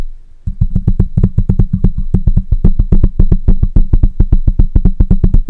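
Fingertips of both hands tap quickly on the metal mesh grille of a black microphone. After a brief quiet moment, a rapid, slightly uneven stream of deep, boomy thumps begins, each with a soft tick on top and almost no ring.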